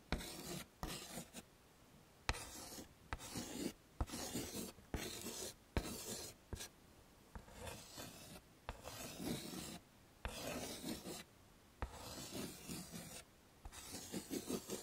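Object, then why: Chalk on a slate chalkboard in a wooden frame. A hand draws with white chalk on a flat dark chalkboard in a wooden frame, making short repeated scraping strokes. Around a dozen dry, gritty rasps come in quick bursts, separated by brief quiet gaps. Each stroke carries a broad scratchy texture with a faint low rumble underneath.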